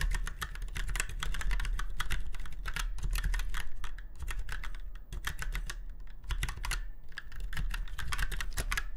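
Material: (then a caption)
Plastic. Fingertips of both hands type rapidly on a typewriter-style mechanical keyboard with round white keycaps set in chrome-look rings on a silver frame. The result is a dense, continuous clatter of sharp, bright key clicks over a steady low hum.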